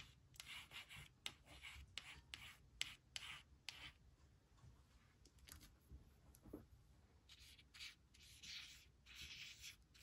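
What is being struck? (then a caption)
Laminated cardstock strip. A thin, flat laminated cardstock word strip reading "they will / they'll" lies on a woven blanket while its letters are traced with long nails and then a white plastic stylus. The tracing makes soft, bright scratching strokes that come in short bursts with brief pauses between them, over a faint low background hum.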